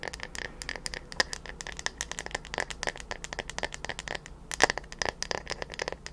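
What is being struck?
Bamboo paddle hairbrush.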